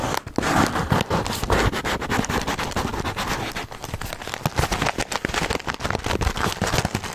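Fingertips and nails tap and scratch a full, white paper Milano cookie bag close up. The result is a dense, continuous stream of crisp papery crackles and scrapes with soft thumps underneath, each tap dying away almost at once.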